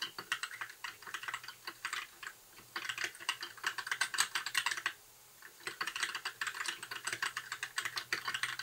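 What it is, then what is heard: Plastic mechanical keyboard. Fingertips type on a compact white mechanical keyboard with plastic keycaps, giving rapid, bright, short clacks in bursts. The typing pauses briefly around 2.5 and 5 seconds before resuming.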